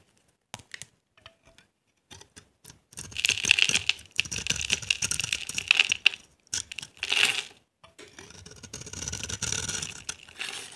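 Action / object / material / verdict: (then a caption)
scrape / bar of soap scraped with a knife blade / soap / none. A utility knife scrapes along the edge of a dry, solid cream-white embossed bar of soap held in the hand, carving off dry flakes that pile up. A few short, separate scratches come first, followed by longer, bright, crisp scraping passes with a steady tone around 2.7 kHz and almost no low end.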